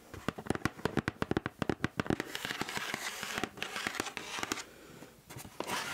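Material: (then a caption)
Cardboard. Long acrylic nails scratch along the flat side of a large, hollow black Nike Air Force 1 cardboard shoe box held upright beside the mic. A quick run of sharp, dry clicks and taps gives way to a denser, bright rasping scrape. There is a brief quieter lull before the scratching swells again at the end.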